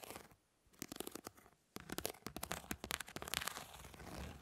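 Long nails scratch across the grid of a plastic mesh fly swatter, making dry, bright scratching and crackling with rapid clicky ticks. The scraping comes in bursts separated by two brief near-silent pauses, then continues busily to the end.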